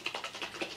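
A bottle of Kosas oil tinted foundation, a liquid formula, is shaken so the mixing bead inside rattles to blend it before use. About five quick, bright clicks land in under a second, and each one dies away almost at once.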